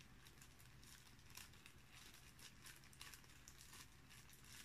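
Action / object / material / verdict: scrape / thin cellophane bag / cellophane / none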